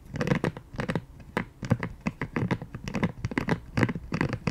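Long painted nails scratch and tap the dotted side of a pink silicone scalp massager brush held in both hands. The result is a steady run of short, dry, crackly scratching bursts with a soft, low-heavy body and quick, brightening rasps.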